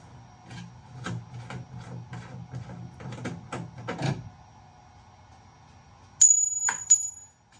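A second aluminium part from a dryer is handled, giving a series of light clicks and rattles. After a pause, two sharp taps ring out with a bright, high metallic tone, unlike the duller sound of the plastic part before it.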